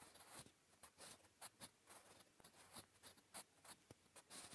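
A blue wooden graphite pencil scratches across a flat grey lined paper notebook page, writing Korean. Quiet, bright, dry scratching strokes come in irregular bursts, with about nine distinct louder strokes standing out over a soft continuous scrape.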